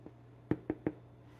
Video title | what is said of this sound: A Sourdough Adventure | You knock on it. Sounds hollow